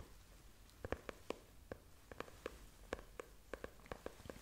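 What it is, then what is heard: Faux leather notebook cover. Long nails tap and scratch the brown faux leather cover of a closed, solid, book-sized notebook held up in the air. Sixteen soft, quick taps sound with a hollow mid-toned knock, separated by faint scratching hiss. Each tap dies away almost at once.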